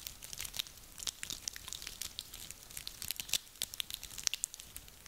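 Hands squeeze and crunch a handful of small, dry, woody pine cones. It makes a steady run of quiet, bright, crackly snaps and crinkles. Each click is sharp and short, with almost no low end.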